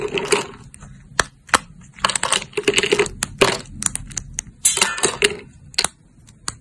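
Thin, solid cream-colored dried soap plates (dried soap sheets) are bent and snapped into shards with fingertips and long nails. Sharp, bright snaps alternate with bursts of dry, crackly crunching, each break cutting off almost instantly with no ring. The plates break into small shards.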